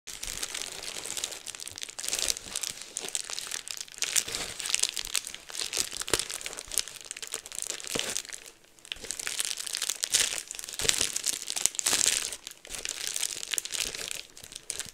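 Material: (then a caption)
Plastic. A large sheet of clear plastic bubble wrap with air-filled bubbles is held in both hands while fingertips pinch and pop the bubbles and crinkle the sheet. The result is a continuous, bright crinkling with many sharp, quick pops scattered throughout and almost no low end. There is a brief lull near the middle before the crackling picks up again.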